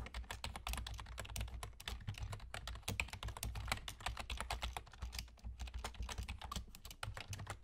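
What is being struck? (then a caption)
Plastic computer keyboard. Fingertips with short nails from both hands rapidly tap the hollow keys of a full-size black plastic computer keyboard with German key labels. A dense stream of short, crisp clicks with bright, clattery tops rides over a steady low hum, each tap dying away almost instantly.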